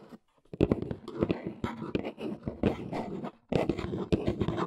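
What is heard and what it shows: Fingertips and long nails do scratchy tapping on the top edge of a large, hollow, brown corrugated cardboard box. Quick, dry taps and scrapes come in dense bursts with a short silence near the start and another just past the middle. Each tap ends almost at once, with a hollow low body and a bright scratchy edge.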